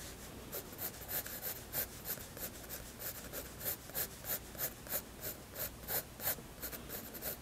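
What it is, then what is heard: Pencil shading on a paper sketchbook page. A graphite pencil scratches and rubs across a white paper sketchbook page while shading, making quick, fairly regular back-and-forth strokes, about three per second. Each stroke gives a soft, bright, papery hiss over a low, steady background hum.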